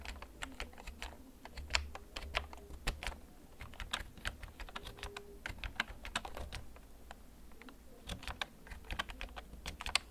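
Fingertips type slowly on a black plastic, backlit mechanical gaming keyboard held in both hands. Bright, sharp key clicks come in an uneven stream, each dying away almost instantly over a steady low hum.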